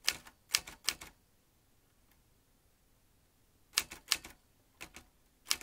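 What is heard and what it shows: A vintage metal manual typewriter, with metal typebars and a ribbon spool, is typed with the fingertips. Sharp, bright clacks come in a quick cluster, then a pause of about three seconds, then another uneven run. Each strike is dry and dies away almost at once, with very little low end.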